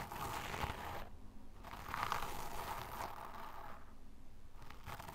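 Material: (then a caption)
Sand. A small brush tip scratches and digs repeatedly into a loose mound of pale, fine sand. It makes a steady dry, grainy crunching and scraping that comes in rough bursts, with two brief softer stretches where the bright hiss fades.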